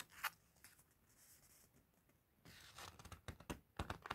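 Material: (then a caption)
Paper. A white-gloved hand and a fluffy mitten turn and riffle the pages of an open, thin, glossy paper guidebook or magazine lying on a table, flipping and rubbing the paper. A sharp, bright paper crackle opens the clip, followed by a stretch of soft, hissy rustling. It then ends with a busier run of crisp swishes and snaps as the pages are flipped.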